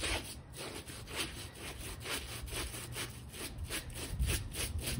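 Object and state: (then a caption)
Shaggy fabric bath rug being scrubbed. A small rectangular, light pink shaggy textile bath rug with long fringe rows, slightly damp and gone gray with dirt, rests on a foam mat while one hand holds it and the other scrubs it with a small plastic detail brush. Steady, rhythmic back-and-forth strokes make a bright, raspy bristle scratch over a low, muffled rumble from the damp pile.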